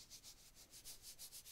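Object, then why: Sand timer. An hourglass-style sand timer that runs for about 12 or 13 minutes is shaken back and forth. It gives a soft, sandy, rubbing rattle in repeated bright hissing swells.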